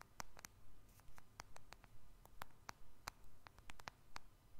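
Fingernails and fingertips tap on the glass screen and back of a small black smartphone with a metal frame, held in both hands above the microphone. Quick, sharp, dry clicks come in an uneven patter with a bright, crisp edge over a quiet low hum.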